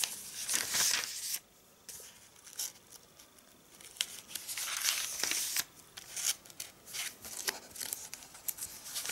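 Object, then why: Glossy paper catalog pages. Fingertips rub the glossy pages of an open AVON catalog at its clothing section, then fingers with red nails lift and flip the pages. Bright, papery rustles, crinkles and soft swishes come in irregular bursts with short quiet gaps between them.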